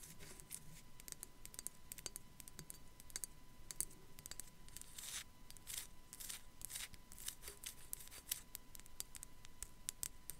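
Long black acrylic nails tap and scratch over the forehead and around the eye sockets of a hand-sized, white, unglazed ceramic sugar skull with raised relief, apparently hollow and held in the hand. Quiet, rapid, bright clicks and dry scratchy strokes follow one another closely, each dying away almost instantly. A faint steady tone hums underneath throughout.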